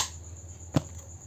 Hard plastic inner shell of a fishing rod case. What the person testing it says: Ini adalah material yang keras, dan ketika diketuk seperti ini, akan terasa kokoh